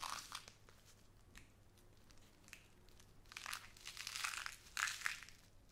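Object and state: Plastic bag of glass seed beads.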